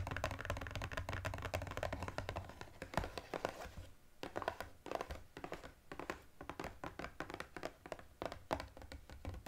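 Fingertips and nails tap quickly and scratch across the front and sides of a small cardboard EOS gift box with a plastic window and lip balm spheres inside. Dense, rapid taps give short hollow thumps with crisp clicks, broken by brief scratchy passages. Each hit dies away almost at once.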